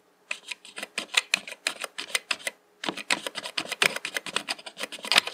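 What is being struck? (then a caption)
Plastic mechanical keyboard keys. Fingertips tap keys in the function row and the Insert/Delete cluster of a black plastic mechanical computer keyboard with hollow keycaps. About 32 quick, bright, clacky taps sound in two bursts separated by a brief pause near the middle, each click dying away almost instantly with no low end.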